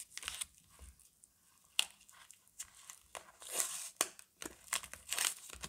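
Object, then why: Paper wrapper on a soap bar. A paper-wrapped Camay Natural soap bar is handled and crinkled with fingertips and long nails, then its paper end flap is pulled open and torn. The sound is a quiet series of dry, bright crinkles and sharp rustling snaps that stop dead with no ring. Longer tearing swells rise near the middle and end.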